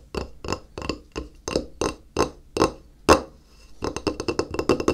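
Fingertips tap the face of a flat, solid white glazed ceramic tile held in the hand. Crisp, evenly spaced knocks with a hollow woody tone near 530 Hz give way to a quicker run of lighter taps. Each one dies away almost at once.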